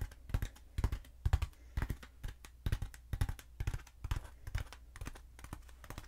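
Long nails tap and scratch along the surface of a long, black, hollow foam pool noodle held horizontally and diagonally. Soft, dull tapping comes in irregular clusters, each with a low thump and a brief, dry scratch. Nothing rings on after each tap.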